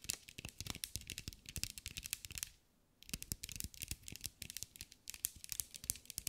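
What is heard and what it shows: A green mirror-glass mosaic sphere held in the hands is tapped and scratched with long acrylic nails, producing rapid, bright, sharp clicks and light scraping. The tapping pauses briefly near the middle, then resumes in quick bursts with no ring after each hit.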